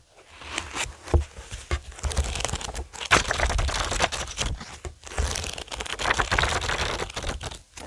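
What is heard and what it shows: Fingertips tap and drum on the glossy card cover of a thick, solid paperback Watchmen graphic novel with many paper pages, lying flat on a wooden table, and the pages are flipped by hand. Soft low thumps from the taps mix with bursts of bright, crinkly rustling and crackling as the paper pages turn, the sound rising and falling in waves throughout.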